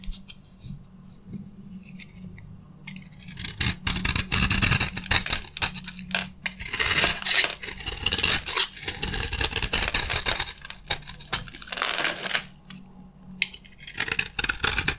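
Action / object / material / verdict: scrape / bar of soap with a coated surface / soap / none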